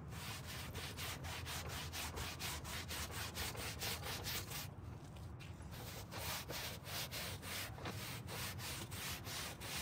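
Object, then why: Carpet car floor mat scrubbed with a stiff plastic brush. A gloved hand scrubs the pile of a dirty dark grey carpet car floor mat lying on a table, working a green-bristled plastic hand brush rapidly back and forth. Rhythmic, scratchy bristle strokes make a bright, raspy hiss over a low rumble, with a brief softer stretch midway.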